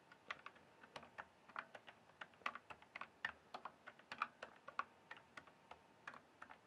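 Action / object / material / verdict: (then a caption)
tap / mechanical keyboard with plastic keycaps / plastic / none. Fingertips type and tap on the plastic keycaps of a full-size RGB-backlit mechanical gaming keyboard. About 33 quiet, short, sharp clacks come at an uneven typing rhythm. Each has a midrange click near 1.3 kHz with a bright edge and almost no ring.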